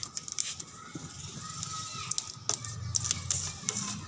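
Fingertips tap and scratch on a car body in a rapid, uneven run of sharp, bright clicks, like typing. Each click is very short with almost no ring, over a soft, low background rumble.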